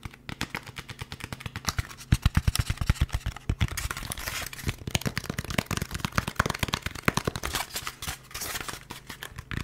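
A hollow, molded white expanded polystyrene foam packaging insert with a cutout is held in both hands up close while fingertips tap, scratch and rub it. Rapid, dry taps with low, hollow thumps and almost no ring are mixed with bright, scratchy crackling and squeaks of the foam.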